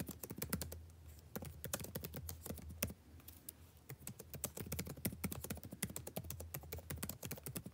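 Fingertips type rapidly on a backlit laptop keyboard with plastic keys, producing a dense stream of short, crisp clicking taps with bright edges. The taps stop ringing almost at once, over a steady low hum, and the pace eases briefly near the middle before picking up again.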